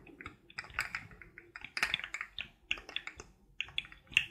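Fingertips and nails tap and click along the hollow ring segments of a rainbow-colored, forearm-length articulated plastic fidget toy as it bends. A quick, irregular run of bright, dry plastic clicks and taps follows, each one short with almost no ring and very little low end.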